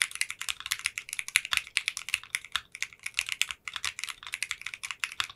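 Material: Polycarbonate.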